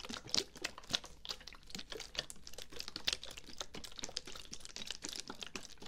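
Fingertips and nails tap and scratch the sides of a medium dark brown plastic bottle with a white cap, likely filled with liquid and held sideways near the mic. A quick, dense stream of bright, dry clicks and scratchy rustles follows, each tap dying away almost instantly with no ring.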